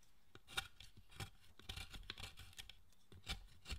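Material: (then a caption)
Wood. A chisel held in the fist pares and scrapes a large, solid, carved wooden Buddhist statue of the guardian king Zōchōten. Twelve quiet, dry strokes are heard, each a short bright rasp over a dull low thump, dying away almost at once.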